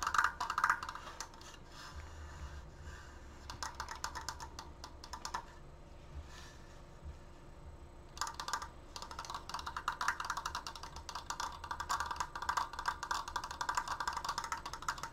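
Fingernails tap quickly on the sides of a large, open, triangular triforce frame made of wooden slats and held upright. Dense bursts of light, dry clicks with a hollow woody tone around 1.4 kHz fade almost instantly, with a quieter patch in the middle before the fast tapping picks back up.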